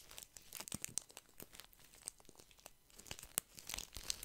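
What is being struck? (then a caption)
Pack of paper tissues in thin plastic film. A small, soft pack of paper tissues wrapped in thin plastic film is held in one hand and squeezed and scratched by the fingertips. It makes quiet, bright crinkling and crackling in quick, uneven bursts, with sharp little snaps standing out now and then.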